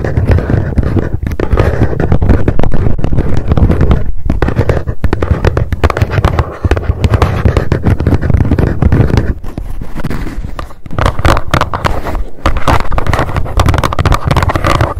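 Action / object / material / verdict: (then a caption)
tap / small cardboard box tapped with long nails / cardboard / none. Long decorated acrylic nails tap fast on the top and front of a small, hollow, closed white cardboard gift box with a pink "GIRL PLUS" label. The result is a dense, continuous stream of quick, dull, low-heavy taps with almost no ring, briefly dipping quieter around the middle before picking back up.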